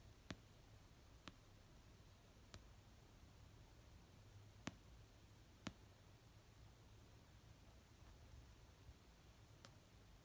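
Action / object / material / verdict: tap / paperback book, paper / paper / none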